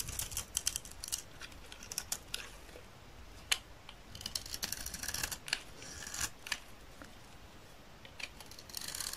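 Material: Soap.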